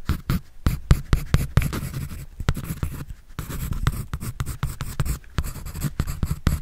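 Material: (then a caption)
Paper. A pencil scratches and draws across a white paper sketch pad held by hand. Quick, dry strokes come in a rapid, uneven series of short scratchy bursts, mostly low and muffled with a faint papery hiss on top.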